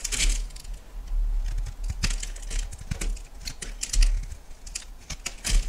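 A solid yellow bar of soap is sliced into thin flakes with a metal knife, giving a run of crisp, bright scraping and cutting sounds over a low rumble. The short strokes come in irregular bursts, with louder ones near the start, middle and end.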